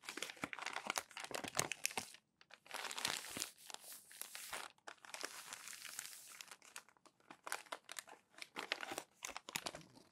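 Palms and fingertips smooth and rub crumpled, newsprint-like glossy magazine pages flat, and the pages are turned. Dense, bright crinkling and crackling comes in bursts, with brief silent gaps and softer, steadier rubbing passes. There is almost no low end.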